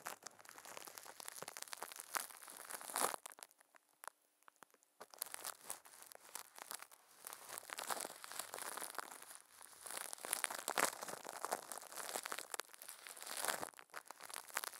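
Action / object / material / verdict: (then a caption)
scrape / thin plastic wrap over a microphone / plastic film / none. Furry puppet hands squeeze and crinkle thin, clear plastic film wrapped over a microphone head. The result is a dense, bright crackling and crunching with a brief quieter pause around the three-to-five-second mark before the crinkling resumes.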